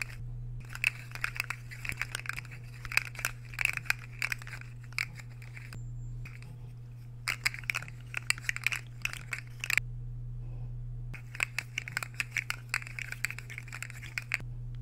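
A metal fork is scraped and tapped across the surface of a solid, empty white square ceramic plate held to the side. Bursts of bright, crisp scraping and sharp clicks are split by short pauses, over a steady low hum.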